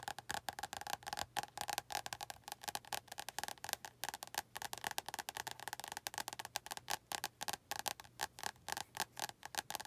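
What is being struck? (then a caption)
Paperback book with glossy card cover. Long nails tap quickly on the glossy card cover of an orange paperback book. The sound is a quiet, steady series of short, dry clicks with a woody, mid-pitched tone and a bright edge. Each tap stops almost at once, with no ring.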